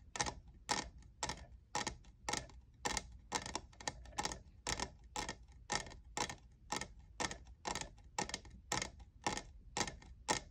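A fingernail taps the frosted logo area of a hollow, lavender, diamond-textured plastic cold cup. Twenty-five short, bright, clicky taps fall at roughly two per second in a loose, uneven rhythm, each dying away almost instantly over a faint low hum.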